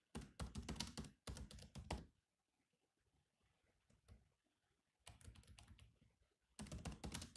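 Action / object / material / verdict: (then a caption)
tap / laptop keyboard with plastic keys / plastic / none. Fingertips type on the black plastic keys of a silver laptop, producing quick bursts of short, dry key taps with a low thud and a bright click. A fast run of typing gives way to a near-silent pause with only a few faint taps, then two more rapid bursts of clicking follow.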